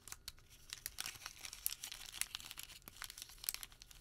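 A crumpled wad of white thermal paper receipt is squeezed and rubbed between fingertips. It makes quiet, bright, dense crinkling and crackling with many sharp, very short snaps and almost no low end, continuing throughout the clip.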